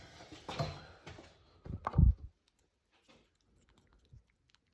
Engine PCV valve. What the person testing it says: doesn't really make a noise at all, or just barely